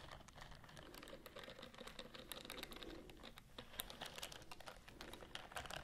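Long nails scratch along the bristles of a white silicone scrubbing glove with a bristled palm and fingers, worn on one hand. The result is a dense, steady stream of quick, dry, bright ticking and scratching clicks, much like rapid typing, with very little ring after each tap.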